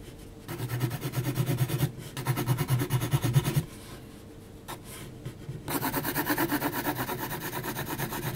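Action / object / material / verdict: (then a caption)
scrape / heavy textured paper sheet stroked with graphite pencil / paper / none. An HB graphite pencil makes repeated short hatching strokes on a flat sheet of heavy textured mixed media paper. Quick, rhythmic scratchy rasps come in three bursts separated by quieter pauses, with a low, papery body and a faint bright hiss.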